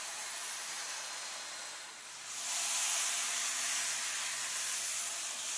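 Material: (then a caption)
Paper. Fingertips and long painted nails rub and scratch across the paper pages of a large open paperback illustrated book lying flat on the same spread. A steady, bright, hissy friction dips briefly around the two-second mark, then returns louder and denser scratching through the rest of the clip.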